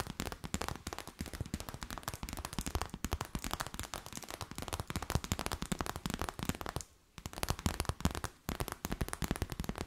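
An empty transparent plastic bag is tapped and crinkled with long nails, making a dense, rapid stream of sharp crackling clicks with low thumps and bright crinkle across the whole clip. The sound pauses briefly around seven seconds and again just after eight, then resumes.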